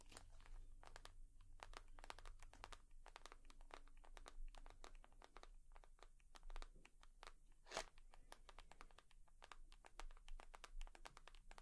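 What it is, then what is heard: Leather purse. Long nails tap and scratch a leather purse, making a dense run of quick, dry clicks and crinkly scrapes that spread up into the highs. The taps are soft and die away almost instantly. A faint steady low hum sits underneath throughout, and one louder tap stands out about two-thirds of the way in.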